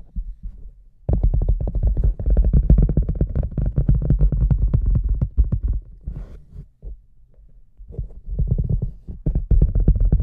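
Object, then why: Large rubber boot. Fingers tap the rim and the front of the shaft of a large, hollow red rubber boot, picked up from inside the boot. The taps come fast and uneven, landing as deep, booming, hollow thumps with very short decays. The tapping drops to a soft patter midway through, then picks back up.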